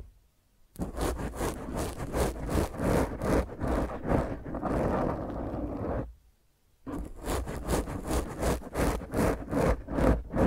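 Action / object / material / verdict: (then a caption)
scrape / foam microphone windscreen / foam / none. Long fingernails on both hands scratch the top of a black foam microphone windscreen. The result is a rough, rhythmic scraping and rustling with a heavy low rumble, and it stops briefly before resuming.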